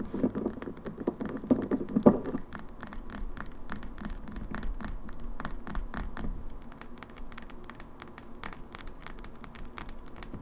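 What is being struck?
Small glass bottle with plastic pump.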